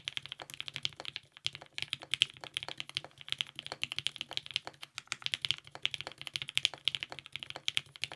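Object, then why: Mechanical keyboard with ABS plastic keycaps. A TGR 910 RE compact mechanical keyboard, with lubed 55g Nixies switches, a polycarbonate plate and purple GMK ABS keycaps, is typed on continuously with the fingertips of both hands. A steady stream of quick, crisp clacks centres around 3 kHz with bright highs and almost no low end, each keystroke dying away almost instantly.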